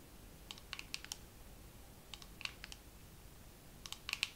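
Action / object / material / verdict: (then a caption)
tap / plastic dermaroller case / plastic / none. A dermaroller case is tapped slowly with long nails, giving quiet, short, bright clicks in three loose clusters. Each tap stops almost instantly with no ring, over a faint steady low hiss.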